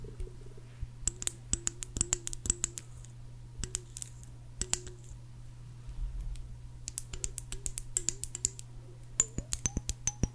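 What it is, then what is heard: Glass jar tapped with nails. Long acrylic nails tap and click on the base and sides of a small clear glass jar with a pink painted label and a green screw lid, held in both hands. Quick bursts of sharp, bright clicks each carry a brief glassy ring over a steady low hum. The taps come in irregular clusters with short pauses between them.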